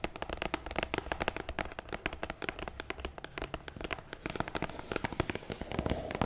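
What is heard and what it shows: A long black matte cardboard gift box, hollow and closed, lies on a wooden table and is tapped fast on its top with long nails. The result is a rapid, dense stream of short, dry clicks with a hollow, low thud beneath them, each tap dying away almost instantly.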